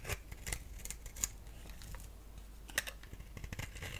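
A solid pink-striped bar of soap held in the hand is scraped and shaved with a box-cutter blade. Short, dry, bright scraping clicks come in irregular bursts over a quiet, low background rumble. Each stroke ends almost instantly with no ring.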